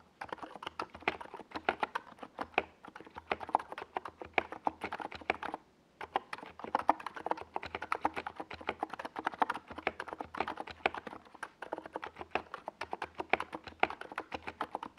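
Fingertips of both hands type fast on a NiZ Plum Atom 68, a compact 68-key mechanical keyboard with a white plastic case and Domikey Gas Attack purple and yellow SA plastic keycaps, resting on a desk pad. Rapid streams of short, sharp plastic clacks centered around 820 Hz, with a bright edge, run nearly continuously, broken only by a brief pause around the six-second mark.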